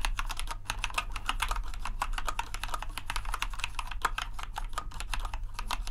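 Fingertips type continuously on the keycaps of a compact white plastic RGB mechanical keyboard, producing a rapid, even stream of sharp, short clicks and clacks centered in the mids with bright tops. A steady low hum runs underneath throughout.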